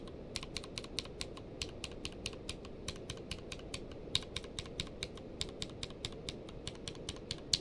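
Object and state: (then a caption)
Mechanical keyboard with plastic keycaps. Fingertips type, mostly with one hand, on a tenkeyless mechanical keyboard in a grey-blue case with white and blue plastic keycaps. About 32 short, sharp, bright key clacks land at an uneven pace over a steady low noise floor, each dying away almost instantly.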